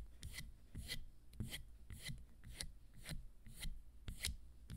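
Long nails scratch and tap along the black sole, straps and fringe of a teal, orange and gold fringed leather high-heel sandal held in the hands. Quiet, loosely rhythmic strokes come about twice a second, each with a soft low thump and a bright, crackly scrape that dies away quickly.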